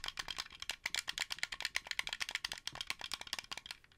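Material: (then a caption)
Plastic. Fingertips rapidly tap and click the buttons and shell of a translucent blue, hollow plastic Xbox 360 controller, making a quick run of about two dozen dry, bright clicks. The clicks are sharp, centered near 2 kHz with almost no low end, and each dies away instantly.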